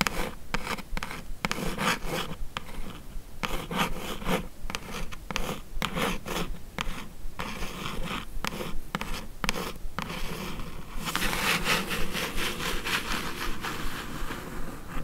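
Long acrylic nails scratch and rub across the lid of a closed, hollow, medium-size brown corrugated cardboard mailer box. Quick, uneven scraping strokes repeat in a dense, papery rasp with a low hollow body. After about 11 seconds they give way to brighter, more continuous rubbing.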